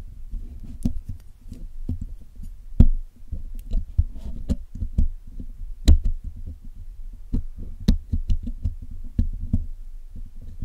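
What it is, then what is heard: Metal mesh microphone grille. A steel hook pick scratches and picks at the black hollow metal mesh grille of a Blue Yeti microphone while the other hand holds tweezers. Irregular low, dull knocks and taps come close to the microphone, with some sharp clicks reaching high, over a soft rustling bed. The impacts die away quickly with little ring.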